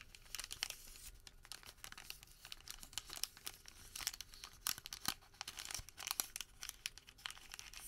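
A folded white thermal paper receipt packet is squeezed and folded smaller between fingertips and thumbs. It makes a quiet, steady run of bright, crisp crinkles and sharp tearing-like crackles with very little low end. Each snap dies away almost instantly.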